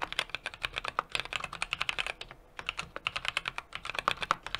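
Fingertips type continuously on a 60% mechanical keyboard with an aluminum case, brass plate and plastic keycaps. The result is a rapid stream of short, bright clacks with a brief pause near the middle, dominated by high, sharp key strikes with little low end.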